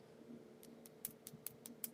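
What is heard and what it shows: A fingernail taps seven times on freshly applied acrylic nails, making sharp, dry, high clicks over a faint steady hum. The clicking shows the acrylic is dry and ready to file and buff.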